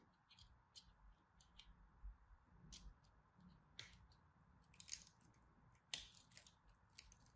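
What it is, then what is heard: Dry soap bar. A craft blade cuts, scratches and chips the corner of a solid orange-and-white striped dry soap bar held in both hands. Quiet, irregular bright scraping and crisp crunching bursts sound over a faint low rumble, with a few sharper chips standing out near the end.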